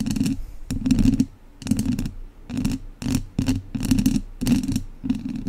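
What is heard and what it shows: Two wooden chopsticks scratch across a hollow metal mesh microphone grille. The result is a series of short, scratchy scraping bursts with brief pauses between them, carrying a boomy low-mid body and a bright, crackly top.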